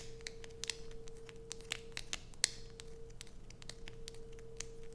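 Long acrylic nails scratch and dig into a solid blue bar of soap held in both hands. Sharp, bright scratches and clicks come in quick, uneven bursts, one louder snap standing out among them. A faint steady hum runs underneath throughout.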